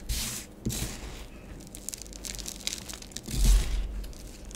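Long nails scratch and rub curved patterns into orange bath bomb powder on a grey plastic tray. A gritty, papery scraping with a tearing texture rises and falls in swells, loudest near the start and again around three and a half seconds. A low rumble sits underneath throughout.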